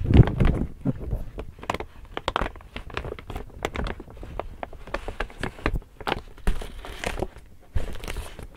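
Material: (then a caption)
Woven plastic. An empty large pink woven plastic tote bag with handles is opened, folded and crinkled in both hands. Dense, crackly crinkling comes in a rapid run of sharp, bright snaps over soft low handling thumps, loudest at the start.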